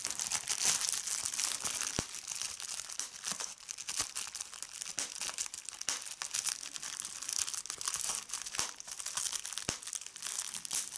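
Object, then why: Plastic bubble wrap sheet. A hand with red nails crumples a large sheet of clear plastic bubble wrap and pops its bubbles. A steady, bright crinkling hiss runs throughout, broken by sharp, crisp pops.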